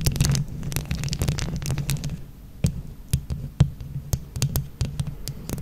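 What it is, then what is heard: Plastic rhinestone-covered microphone being scratched. Long nails on both hands scratch a microphone grille covered in plastic flower rhinestones, producing a dense, low, rumbling scrape with a steady hum. Sharp, bright clicks cut through, packed closely at first and then spaced out as the scratching slows into scattered taps.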